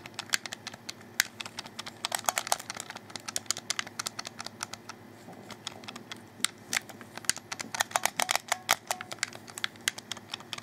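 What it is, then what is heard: Plastic game controller. A black plastic Xbox 360 controller, a hollow handheld shell held in both hands, has its buttons clicked by fingertips while the thumbs work the thumbsticks. Dozens of short, dry, bright plastic clicks come in irregular bursts and clusters over a faint steady low hum, each click stopping almost instantly.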